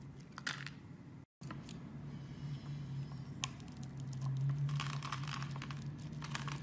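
A knife blade scrapes and slices thin strips off the surface of a palm-sized, solid pink-and-white striped soap bar with an embossed logo, held in hand. Crisp, crinkly shaving and scraping sounds repeat in irregular bursts over a steady low hum, with a brief gap of silence just after the first second.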